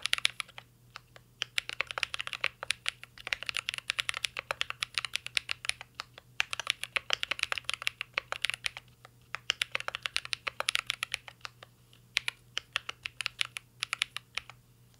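Continuous fingertip typing on a mint-green Cyberboard R3 mechanical keyboard with plastic keycaps and a metal case. Rapid, bright, clacky key taps come in dense bursts separated by brief pauses, over a faint steady low hum.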